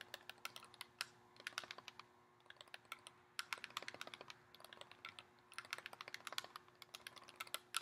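Fingernails tap and scratch a hollow, thin, clear plastic blister insert tray that holds nine lip gloss tubes and has been taken out of its box. Quick, bright, crisp clicks come in uneven bursts with a short, hollow plastic snap, over a faint steady hum.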